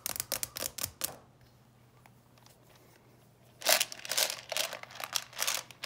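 Long purple nails tap quickly on the lid and edges of a clear plastic coffin-shaped box full of candies while it is held. The bright, crisp clicks come in a rapid burst, then pause for about two and a half seconds of near silence before resuming in louder, denser clusters.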